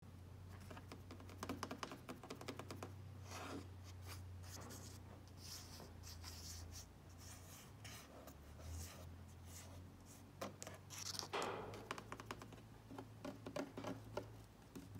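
Fingertips tap and rub the large, hollow, black textured plastic front hood panel with the Cub Cadet logo on a riding lawn mower. Quick, dry clicking taps mix with scratchy, brushing rubs that fade almost at once, over a steady low hum throughout. Bursts of brighter scraping rise near the middle and again after the eleventh second.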